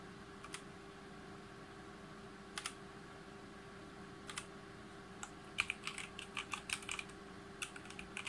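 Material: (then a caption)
Plastic, aluminium. Fingertips of both hands type and tap on a full-size backlit G513 Carbon mechanical keyboard with GX Brown switches, its plastic keycaps set on a brushed aluminum plate. A few isolated, bright, short clicks come first, followed by a quicker burst of key presses toward the end, all over a steady low hum.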